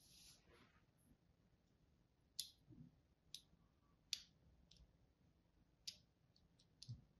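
A solid green-and-white striped soap bar, held in the hand, is carved and scratched with the tip of a thin craft knife in crosshatch strokes. Five small, crisp, bright clicks stand out at irregular intervals over a faint background of softer scraping, each one dying away almost instantly.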